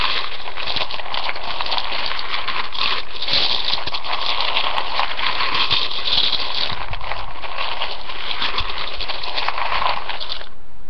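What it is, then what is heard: Dry rotini pasta in a ceramic bowl. A hand and fingernails rake and stir through uncooked spiral rotini pasta in a floral-rimmed ceramic bowl, making a steady, dense stream of bright clicking and rustling. The sound stays at an even level throughout and stops abruptly at the end.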